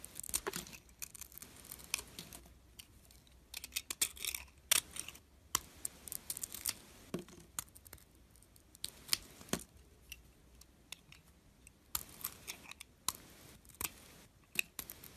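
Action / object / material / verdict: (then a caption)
scrape / bar of soap shaved with a metal blade / soap / none. A metal blade shaves thin curls off the edges of a palm-sized, solid white bar of soap with remnants of a glitter coating, held in hand. Many short, crisp, bright scraping and crackling strokes sound at an irregular pace, each dying away instantly with almost no low end. A faint low hum sits underneath.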